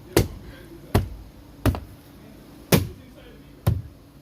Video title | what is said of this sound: Dodge journey mirror replacement | You just give it a tap, and you hear the clip lock back into place